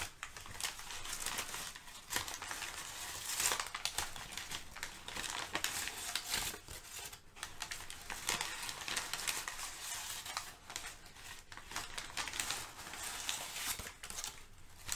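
Both hands scrunch and shift thin, crumpled, layered brown kraft packing paper over a fluffy rug. The result is a steady, bright crinkling and rustling for about fifteen seconds, with louder crackling surges and little low end.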